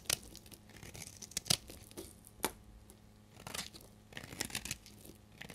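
A solid, dried amber bar of soap held in the hand is shaved with a utility knife blade, peeling off curly yellow shavings. Bright, dry scraping and crisp cracking snaps come in short bursts, some sharper and louder than others, with almost no ring after each cut.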